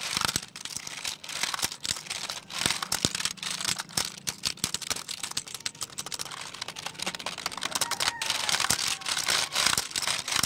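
Fingertips type quickly on the keys of a black plastic computer keyboard held at the shoulder. The result is a dense, rapid stream of short, bright plastic clicks and clacks with a crinkly edge, over a faint low steady hum.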